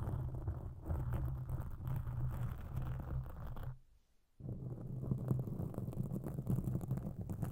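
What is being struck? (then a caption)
Foam microphone windscreen. Long pink acrylic nail tips scratch a large, soft, porous black foam windscreen over a microphone. The result is a dense, muffled, low rumbling scratch with little high end, and it stops for about half a second before resuming just as steadily.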